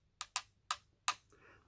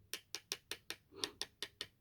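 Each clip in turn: First: Four crisp, bright metallic ticks with a brief ring: a thin pressed steel headphone yoke being tapped. Second: Nine quick, clicky taps with a metal tool, each gone instantly with no ring: a plastic headphone yoke.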